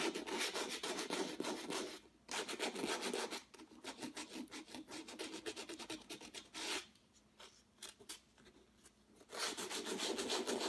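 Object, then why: Sandpaper on acrylic-painted canvas. A small folded piece of sandpaper held in the fingertips is rubbed over the upper and left areas of a stretched canvas with a textured acrylic surface, while the other hand steadies the canvas. Rapid, bright, scratchy rasping strokes come in busy bursts with a brief pause near two seconds. A quieter, sparser stretch follows before the strokes return loudly at the end.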